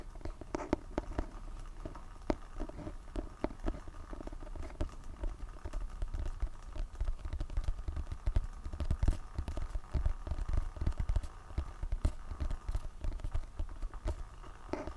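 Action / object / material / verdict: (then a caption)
tap / hardcover book with glossy cardboard cover / cardboard / none. Fingertips tap and scratch the front of a solid, medium-sized hardcover book with a glossy printed cardboard cover, held close to the mic. A quick, steady stream of soft, dull, low-heavy taps mixes with light scratching. Each tap dies almost instantly, leaving a dense, muffled patter throughout.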